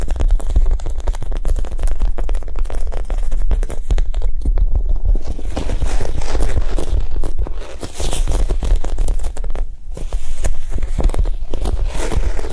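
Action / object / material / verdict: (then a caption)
tap / foam squishy toy / foam / soft. A Japanese cheesecake squishy, a soft foam toy, is tapped quickly and gently. The result is a dense, steady stream of soft, muffled taps with a low, thudding body and a faint crinkly texture, each tap dying away almost at once.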